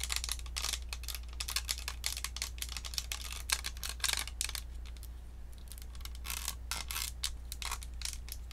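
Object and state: Plastic USB microphone tapped and scratched with nails.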